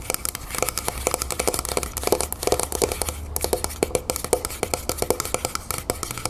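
Long painted nails of both hands rapidly tap all over a medium, hollow, copper-colored Vaseline Spray & Go moisturizer can, a metal aerosol spray can standing upright on a wooden table. The result is a steady stream of sharp, bright clicks, each with a brief hollow metallic ping around 500 Hz, over a faint low hum.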